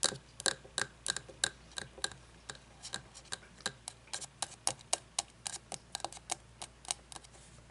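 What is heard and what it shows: An open frosted glass candle jar with wax inside, held on its side, is tapped on the glass with long fingernails. Twenty-nine quick, irregular clicks sound crisp and bright, with a faint glassy tone around 1.6 kHz that dies away almost instantly after each tap.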